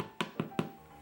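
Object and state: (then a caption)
Baked-through sourdough loaf (hollow). Three hollow taps on the bottom of a freshly baked sourdough loaf on a cooling rack, baked about 40 minutes with steam. Each tap is a short, low thump that dies away quickly. The hollow sound shows the bread is cooked through.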